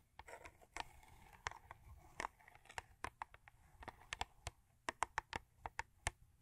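Long acrylic nails tap and scratch on a thin cardboard Crest toothpaste box lying flat. A quick, irregular series of sharp, dry clicks sits over a soft, papery scratching rustle. The taps are short and hollow-sounding, with a mid-range knock and bright edges, and they grow sharper and more evenly spaced toward the end.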